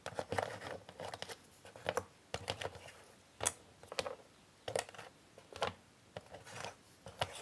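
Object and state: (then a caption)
Cardboard puzzle pieces handled. Fingertips and long nails pick up, flip and slide small, thin, solid cardboard jigsaw puzzle pieces scattered on a grey puzzle board. Soft scraping and shuffling alternate with sharp, bright clicks and taps at an irregular pace, each dying away almost at once.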